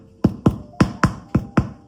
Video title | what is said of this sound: PAIN AU LEVAIN FACILE A FAIRE ( Érable, Canneberges et Noix ) 🍁🌰 #levain #quebec #érable #pain | on vérifie la cuisson d'une façon très très simple on tourne le pain ça sonne creux